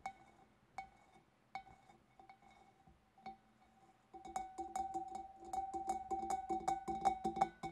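Long painted nails tap on the sides, then the front, of a large, clear, empty glass fish bowl. A few sparse, spaced taps give way after about four seconds to a louder, faster run of clicking taps. Each tap rings with a clear glassy tone near 770 Hz over bright clicks.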